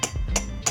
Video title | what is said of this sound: Simple way of making DIY bolo handle made of plastic cellophane (Pulo-an/ Hawakan Ng itak) | Kung pinupukpok natin ito ng hammer, ito, matatanggal ito kung hindi ito matibay.